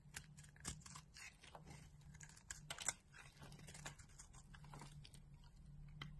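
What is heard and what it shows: A utility knife blade shaves thin, crumbly layers off a solid orange bar of soap held in the palm of a hand with dark long nails. The result is a quiet run of crisp, bright scraping and crunching ticks over a steady low hum, with a sharper crack near the middle.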